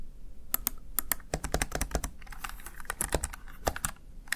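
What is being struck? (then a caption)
Plastic gaming keypad. Fingertips and long nails tap the keys of a small, hollow, backlit plastic Razer Tartarus Chroma gaming keypad in a quick, uneven typing rhythm. Each press makes a short, bright plastic click with a light hollow thud underneath that dies away almost instantly.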